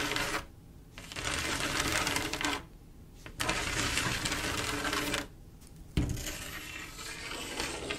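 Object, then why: Mirror-glass mosaic tiles with grout. Long acrylic nails scratch and tap across a flat panel of silver mirror-glass mosaic tiles with grout, making dense, bright, crackly clicking and rasping. The sound comes in three bursts separated by short quiet pauses, and a sharper tap opens the last stretch.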